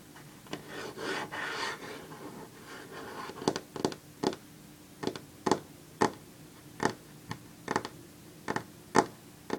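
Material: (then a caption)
Wood. Long fingernails scrape across a solid varnished wooden tabletop in a few soft, rasping strokes. They then tap it in a series of short, sharp clicks with almost no ring, some in quick pairs.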